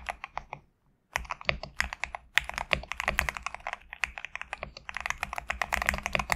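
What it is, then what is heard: Mechanical keyboard with PBT keycaps. A compact 65% GMK67 mechanical keyboard with a black case and white/cream PBT plastic keycaps sits on a desk mat while both hands type rapidly with their fingertips. The result is a fast, steady stream of short, bright clacks centred around 1.9 kHz that stop almost instantly. There is one brief silent gap of under a second before the typing resumes.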